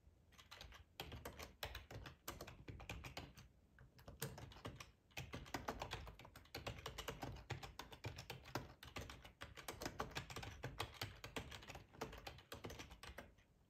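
Fingertips of both hands type on a black plastic, full-size ergonomic split keyboard resting on a cloth tablecloth. Quick, dry key clicks and soft low thuds run almost continuously, with short pauses between bursts. Each keystroke dies away at once.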